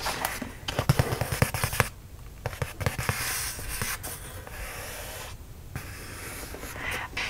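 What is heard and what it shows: The fingertips and nails of one hand tap and scratch the flat printed side of a closed, medium-size red-and-white Universal Yums cardboard subscription box, likely full of snacks, while it is held up. A run of quick, dull knocks with a low thud body comes first, then a steady dry scratching hiss that drops out briefly before returning as softer rubbing with a few more taps.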